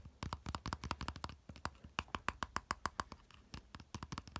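Fingertips and nails rapidly tap and scratch the small, solid, rounded silver metal handle knob of a folded umbrella with a cord loop attached. About 27 quick, sharply separated clicks sound with a brief metallic ping near 1.1 kHz and faint bright scratches between them. Each tap dies away almost instantly.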